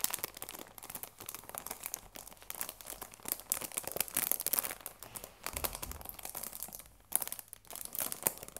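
Fingers rub and crinkle the cellophane wrap on a cardboard tea box. The result is a continuous stream of dense, bright crackles and rustles with quick dry transients, little low-end weight, and brief quieter pauses between bursts.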